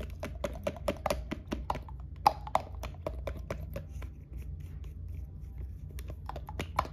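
A hollow white plastic lotion bottle with a pump is held sideways and tapped quickly with long nail tips, like typing. It gives a rapid run of dry, clicky taps with a hollow tone around 830 Hz that die away almost at once, over a steady low hum.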